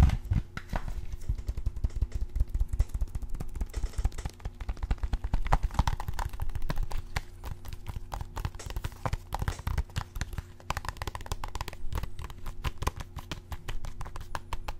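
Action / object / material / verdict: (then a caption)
tap / plastic game case / plastic / none. Fingertips and nails tap rapidly along the cover and edges of a hollow, hand-sized plastic video game or DVD-style case held close to the microphone. The result is a dense, continuous run of dry, hollow clicks and low thuds that stop almost instantly, with no ring, over a faint steady low hum.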